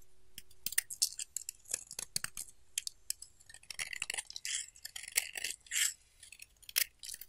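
A solid pink bar of soap held in the hand is scraped and carved with a utility knife blade, and flakes drop onto a pile of shavings. A quick run of short, bright scratching and crunching strokes with faint clicks sounds close and dry, with almost no low end.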